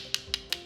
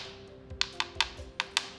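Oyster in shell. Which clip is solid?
The first.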